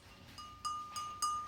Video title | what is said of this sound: Glaze class for Slow Clay Students | tap it with our fingers like this you can hear it ringing that means that it has actually gone into a firing already